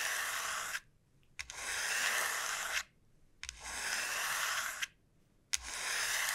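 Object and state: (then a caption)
Dried gourd shell scratched with nails. Long nails slowly scratch the rough surface of a large, hollow dried gourd shell. They make four sustained, breathy rasping strokes, bright and hissy with almost no low end, each separated by a brief near-silence.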